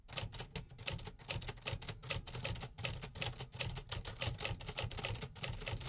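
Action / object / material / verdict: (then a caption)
tap / manual typewriter with metal keys / metal / none. Fingertips type quickly on the metal keys of a vintage 1950s manual typewriter, producing a dense, steady run of sharp, bright mechanical clacks. Each strike is short and dry, with a low thump under the bright click.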